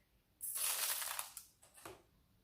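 Rice grains are poured onto a plastic container, giving a bright, dense patter of tiny ticks that lasts about a second. It is followed by two shorter, softer trickles as the last grains fall.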